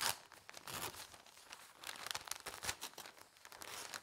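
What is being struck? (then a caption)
Newsprint newspaper. Fingertips press and smooth the thin newsprint pages of an open broadsheet paper newspaper on a table, then lift one page. A steady, bright, crinkly rustle with many soft crackles, quiet overall and nearly lacking low end.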